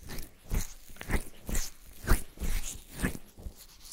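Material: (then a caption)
Silicone. Both open hands cup and rub the two soft silicone ear shells of a black 3Dio binaural microphone on a stand, massaging them with palms and fingertips while it records itself. The result is close, muffled rubbing heard as deep, crunchy swells about once a second, heavy in the low end with brief brighter scratchy edges, set against quiet hiss between strokes.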